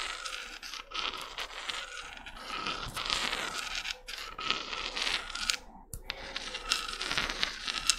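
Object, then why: Small spiky spiral seashell. Long red nails scratch and scrape a small, hollow white spiral seashell with spiky ridges and brown spots held in the fingers. The result is a continuous, bright, dry scratching with crisp crackles and quick scraping strokes, with short pauses near the 4- and 6-second marks.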